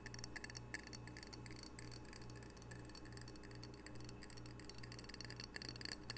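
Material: Ceramic.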